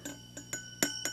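A glass preamp tube in a budget tube preamp kit is tapped five times while the amplifier is running, and each tap comes through the audio as a short, bright ringing zing. This is tube microphonics, where the vibration shakes the tube's internals, and it is not really an issue.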